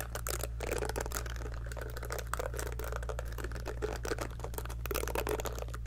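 Long fingernails pluck quickly across the silicone bristles of a small pink heart-shaped scalp massager brush held sideways. The result is a dense run of soft, dry ticking and flicking clicks over a steady low hum.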